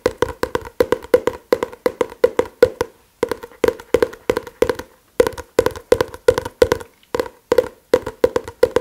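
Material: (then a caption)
Paper. A paper book is tapped rapidly with the fingers, making dozens of short, dry, hollow taps with a woody tone centered around 500 Hz. The taps come in quick rhythmic bursts, broken by brief pauses near 3, 5 and 7 seconds, and each one dies away almost instantly.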